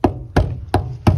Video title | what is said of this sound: Mercury 270 RIB initial look | Even back at the transom, over here too, that sounds solid.